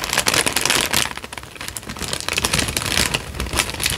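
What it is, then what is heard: Paper sheet being crinkled. Fingertips fold and crinkle a thin, light-brown tan paper sheet just in front of the microphone. The result is dense, bright crackling and rustling, quieting briefly in the middle before building back up to steady crinkles.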